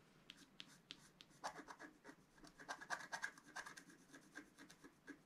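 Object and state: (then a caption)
Scratch-art paper card. A wooden stylus scratches across a flat coated scratch-art paper card in a rapid, irregular series of short, dry strokes. The quiet, bright rasps carry a thin tone near 1.5 kHz and stop almost instantly, leaving no ring.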